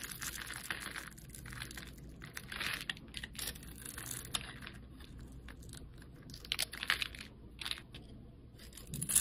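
A metal utility blade scrapes the surface of a solid red oval soap bar held in the hand, shaving off flakes that fall away. The sound is a steady run of dry, bright scraping and crinkling strokes, with sharper, louder scrapes toward the end over a faint low hum.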